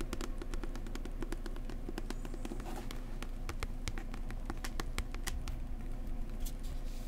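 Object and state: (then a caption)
Book tapped with fingers. A book about New Zealand is tapped gently up close with the fingertips. Rapid, soft taps land in a steady patter, each a dull, low thud with a brief crisp click that dies away almost at once. A constant low rumble sits underneath.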